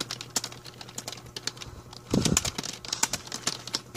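Fast fingertip typing with both hands on a full-size black plastic A4Tech membrane keyboard with a hollow plastic body, resting on a blue mat, gives a steady stream of short, bright, dry taps. Midway through, a louder cluster of lower, thumpier keystrokes stands out before the light tapping resumes, with a faint possible bird sound in the background.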